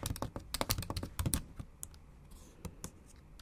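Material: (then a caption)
Plastic. Long acrylic nail tips and fingertips type, possibly in Japanese, on the backlit black plastic keys of a silver aluminium MacBook Pro. An irregular run of short, dry clicks and taps comes quickly at first, then thins out into sparser taps over a quiet background.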